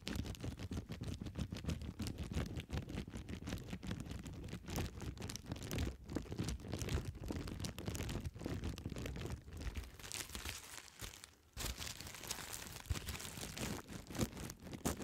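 A clear plastic bubble wrap sheet of air-filled bubbles, held upright behind the microphone, is scratched, tapped and popped by long red nails. A dense, continuous run of quick crinkling taps, scratches and sharp pops continues throughout, with a brief quieter pause near the 11-second mark before the activity resumes.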